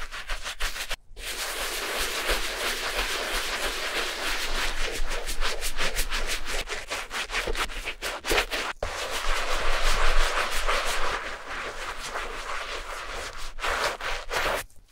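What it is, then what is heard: Rubber shoe outsole being scrubbed. A gloved hand scrubs the worn rubber outsole of a very old Clarks leather shoe, lying upside down on a cloth and covered in foam, with a wooden-handled bristle brush. The sound is a continuous, bright, scratchy bristle scrub in quick back-and-forth strokes, broken by brief pauses near the start, the middle and the end.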